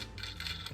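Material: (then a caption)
Plastic. The cheap plastic wheels of a knock-off Transformers Streetwise figure rattle and click as the figure is handled, while the rest of the figure feels sturdy. Bright, light plastic clatter sits over a steady low hum, and the sound comes across as cheap.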